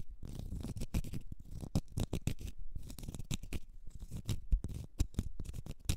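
Long red nails scratch a small, solid, round cork stopper. The result is a rapid, uneven run of dry, dull scratching strokes, mostly low and muffled, with occasional brighter flicks of texture.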